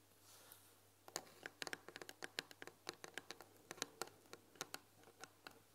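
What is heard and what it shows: A fingernail scratches over the painted "THÉ" letters on the front panel of a white painted wooden tea box, then the hands rest on the front. A soft, bright scratching hiss in the first second gives way to about two dozen sharp, dry, irregular clicks and scrapes that die away instantly, over a faint steady low hum.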